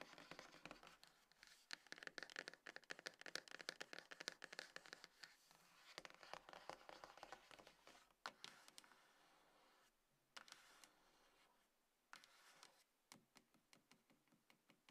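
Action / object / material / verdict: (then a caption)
scrape / small cardboard box / cardboard / none. Long nails scratch across the top and front of a small, hollow, closed dark grey cardboard iPhone box resting on a table. The result is quiet, dry, bright rasping in quick dense bursts with no ring, thinning into sparser scrapes separated by brief pauses toward the end.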